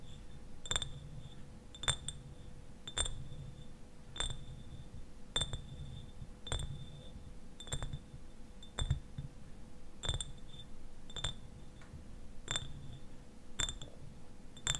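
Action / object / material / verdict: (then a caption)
tap / glass eyewash bottle with liquid / glass / none. Fingernails tap the sides of a clear glass eyewash bottle that stands upright, partly filled with liquid. Each tap is a short, sharp click with a bright glassy ping, coming at a slow, uneven pace over a steady low rumble and a faint constant hum.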